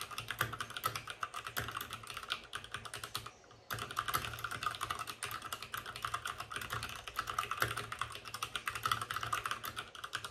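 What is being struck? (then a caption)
Mechanical keyboard with plastic keycaps and case. Fingertips of both hands type fast on a white RGB-backlit mechanical keyboard with plastic keycaps and a hollow plastic case. The result is a dense stream of sharp, clacky keystrokes with a bright, hollow ring centered around 1.3 kHz. A brief pause falls just after the three-second mark before the rapid typing resumes.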